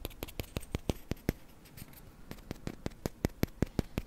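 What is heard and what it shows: Fingertips place a block on top of a tall tower of small, solid, light-wood Jenga blocks on a table, then push and slide a block out near the base. About twenty short, sharp wooden taps and knocks sound in a loose, irregular rhythm, with a quieter stretch of soft scraping in the middle. Each hit dies away almost instantly.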